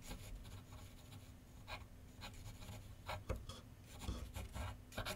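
A pencil tip scratches sketch lines across a large white paper sheet mounted on a solid board on a wooden easel. Short bright, raspy strokes come in quick bursts over a steady low hum.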